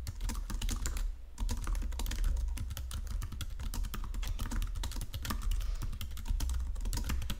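Both hands type rapidly with their fingertips on a full-size white-and-silver plastic Logitech wireless keyboard lying flat on a marble surface. Quick, dense streams of bright key clicks and taps run over a steady low rumble, with a brief lull just after the first second.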